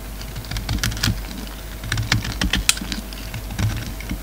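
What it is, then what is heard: Bar of soap being shaved. A utility knife shaves flakes from a hand-held solid black soap bar with a red rim. Quick, crisp scraping ticks and crackles come in irregular bursts, bright on top over a steady low rumble.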